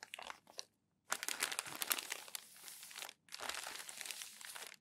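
A stack of thin newsprint newspaper pages is crumpled and pressed flat by hand. A few short crinkles open the clip, then after a brief pause a dense run of bright, crackling crumpling follows, briefly stops, and resumes.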